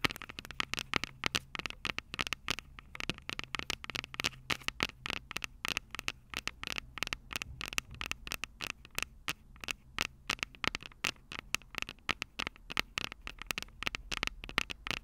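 Long purple nails scratch and tap the two metal microphone capsules of an upright Tascam DR-05 recorder. A dense stream of dozens of sharp, dry clicks and scratchy rasps follows, bright and crackly with almost no ring. Faint low hum sits under the taps throughout.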